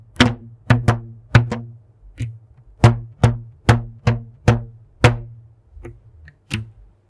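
A thin purple elastic rubber band is stretched between two hands in front of a microphone and plucked and snapped with the fingertips. Twelve separate low, twangy snaps ring briefly around a pitch near 117 Hz, each with a quick bright click at the start.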